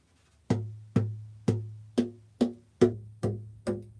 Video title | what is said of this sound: Wednesday Live | of course I've got, tape on there and stuff, but I mean, it rings.